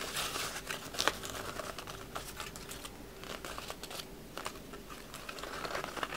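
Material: Paper.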